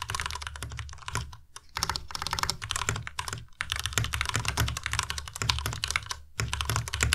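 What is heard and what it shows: A white compact Ducky Miya Pro mechanical keyboard with plastic keycaps is typed on quickly with the fingertips of both hands. Dense, rapid keystrokes give a steady run of bright clacks over a low thock, broken by brief pauses. Each key hit is sharp and dies away almost at once.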